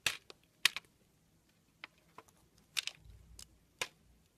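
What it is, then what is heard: Bar of soap scraped with a blade. A steel blade scrapes curls off a long, solid red soap bar. Short, bright, crisp scraping bursts come at irregular intervals, each one dry and quickly gone, with almost no low end and quiet gaps between them.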